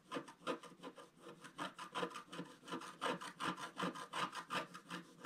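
A wooden stylus scratches out the fish area on a flat, solid, black-coated scratch art page about A4 in size. About two dozen quick, raspy strokes follow one another at a steady rhythm, each a short dry scrape with a bright papery hiss.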